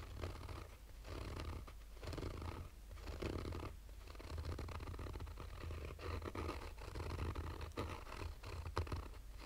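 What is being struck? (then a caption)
Fabric-covered hard sunglasses case. Fingernails of both hands slowly scratch a black, oval, fabric-covered hard-shell sunglasses case with a textured surface and a hollow rigid shell. Soft, raspy strokes repeat steadily over a low, muffled hum, with a purring, scratchy texture and no speech.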